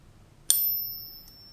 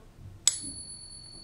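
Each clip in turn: First: fake silver coin. Second: genuine silver coin.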